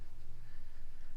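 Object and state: Nothing is struck.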